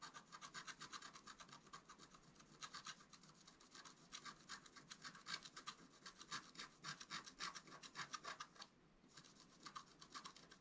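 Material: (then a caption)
Waxed paper. A wooden stylus scratches near the top edge of a wax-coated scratch-art paper card lying flat on a table. Quick, uneven strokes of bright, rasping scratching repeat at roughly four per second, with a brief pause near the end before the scratching resumes.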